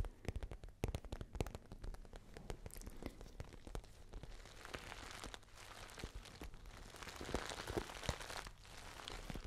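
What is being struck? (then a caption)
Patent faux leather handbag. Long nails tap and scratch a small, pale pink, glossy patent faux leather handbag with a gold chain. Quick, sharp clicks mix with scratchy, crinkly rubbing over a soft, low thump from the bag's body. The sound stays quiet and close throughout.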